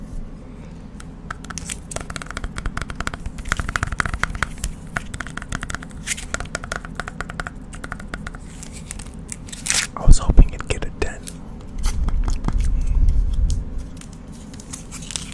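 A small, hard, clear plastic BGS graded card slab holding a holographic card is held up and quickly tapped and scratched with fingertips and nails. The result is a dense stream of rapid, sharp clicks and scratchy crackles over a low rumble, with a louder burst around ten seconds and a swell of scraping near thirteen seconds.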